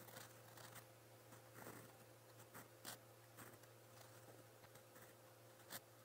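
A steel fountain pen nib, held by the fingers, scratches along a lined white paper notebook page while writing in blue ink. Soft, bright scratching strokes come in short bursts, with a few sharper scrapes standing out, over a steady low hum throughout.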